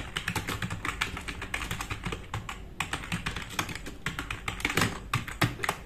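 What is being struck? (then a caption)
Plastic mechanical keyboard. Both hands type fast with their fingertips on a compact RGB-backlit mechanical keyboard with black plastic keycaps, resting on a wooden desk. The result is a dense, continuous stream of quick, sharp keystrokes, each a bright plastic clack over a low thud. The clacks are closely spaced and briefly louder in bursts.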